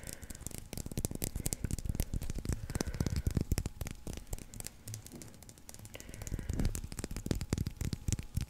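A solid white leather baseball with red stitching, held in the fingers, is scratched and tapped with nails and fingertips. The result is a quick, irregular stream of short, dry taps with deep thuds underneath and faint bright scratchy ticks, each sound dying away almost instantly. The activity eases briefly around the middle before picking up again.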